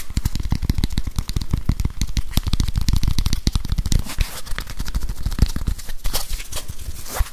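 Fingernails rapidly scratch and tap a grey whiteboard eraser with a plastic body and felt pad, held close to the mic. The result is a dense, fast stream of close, boomy low thumps and dry crackling scratches. Toward the end the scratches turn brighter and more hissy.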